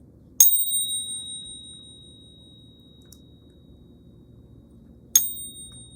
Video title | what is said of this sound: How Can These Two Silver Bullion Coins Be SO Different? | It's a beautiful sound. You can hear that ring of the silver, but it's not just the silver that you're hearing.